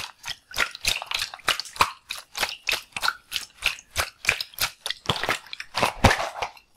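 A full, palm-sized red-and-white latex water balloon is held in one hand while fingers squeeze and tap it. A steady series of short, bright, crackly squishes and taps sounds with brief gaps between them.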